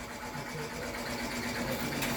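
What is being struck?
Nothing is struck.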